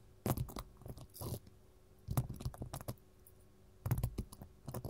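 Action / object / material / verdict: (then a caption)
tap / mat tapped with metal rings / unknown / none. A gold mat is tapped with metal finger rings. Quick, dull, low taps come in three irregular bursts with quiet gaps between them, each tap dying away almost at once.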